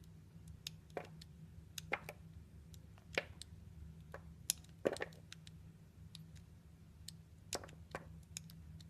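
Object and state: Soap chunk being carved.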